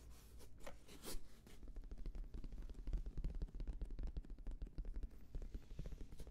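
Fingertips tap rapidly on a black, oval, fabric-covered semi-rigid Bose headphone case, hollow and slightly larger than a hand, held up close to the microphone. The result is a dense run of dull, deep, muffled thumps with very short decay, and a few brief brushing swishes near the start.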